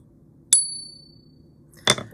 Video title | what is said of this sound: I bought 21 Ounces Of THIS Type Of Silver! Here's Why! | and it rings true that's what silver is